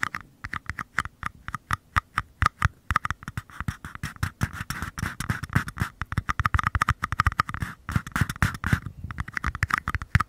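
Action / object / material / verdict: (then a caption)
tap / small empty paper cups / paper / none. Fingertips rapidly tap and scratch the flat bottoms of two identical small, empty paper cups held facing the mic. The dry, quick taps have a low hollow thump over a papery midrange tone, with denser rasping scratches filling the middle of the clip. Each tap stops almost at once with no ring.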